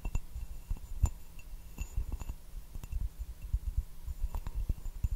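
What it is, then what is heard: Ceramic teacup. Fingertips and fingernails tap the base and sides of a small, hollow, turquoise glazed ceramic teacup with a white floral pattern, held upside down and empty. A series of soft, dull taps with faint bright clinks is heard. Each tap dies away almost at once, with a low, muffled body.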